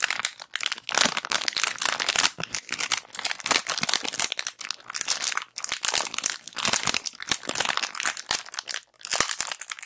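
A clear plastic bag of round cotton pads is crumpled and scratched with long black acrylic nails and fingertips close to the recorder. Bright, crisp crinkling and scratching come in dense bursts with short pauses between them. There is almost no low end.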